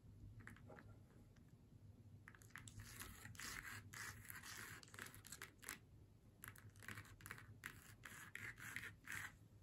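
Long nails tap and scratch across the face and hat area of a flat faux leather snowman door hanger lying on a table. Quick, irregular bursts of bright, dry scratching and soft tapping come over a low, steady hum, with short, crisp contacts that fade almost instantly.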